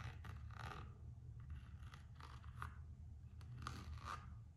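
Long acrylic nails scratch and tap the printed coated-canvas strap of a single empty Gucci slide sandal made of coated canvas and rubber, while fingertips rub it. Quiet, short rasping strokes with sharp tapping clicks repeat over a steady low rumble.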